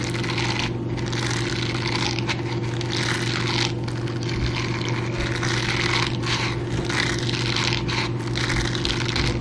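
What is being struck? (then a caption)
Silicone bristled scrubber glove. A teal bristled silicone scrubber glove is worn on one hand while the bare fingertips and nails of the other hand scratch and brush over the palm bristles. A steady, dense bright scratching and scraping continues throughout over a constant low hum.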